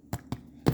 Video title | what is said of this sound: Bread Rolls | That sounds hollow.